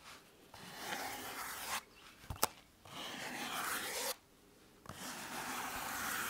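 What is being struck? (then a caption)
EVA foam exercise roller. Fingers rub and scratch the surface of a blue EVA foam exercise roller held horizontally against the chest. Three long passes of dry, bright rasping scratching are separated by quiet pauses, with a brief sharp tap in the first gap.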